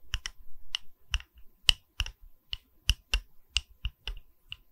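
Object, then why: Wooden pedestal. Tapping on a wooden pedestal, with about thirteen sharp, dry taps at an uneven pace. Each tap is a short click with a thump in the low end and a bright tick on top, and it dies away almost instantly.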